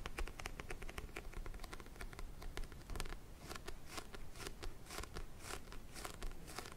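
Fingertips and nails tap and scratch the glossy orange printed cover of a small, solid paperback book held in both hands. Quick, dry clicks and brushing scratches come in a steady, dense patter over a low, soft rumble, each tap dying away almost at once.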